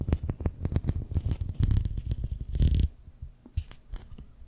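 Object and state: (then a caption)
Plastic corrugated tube. Fingertips and nails scratch along the ribs of a long, hollow, empty pink-and-white ribbed plastic corrugated tube held horizontally in front of the mic. A rapid, dense run of low, rumbling ribbed scrapes with bright edges fills the first three seconds, then thins into quieter, scattered scratches and taps.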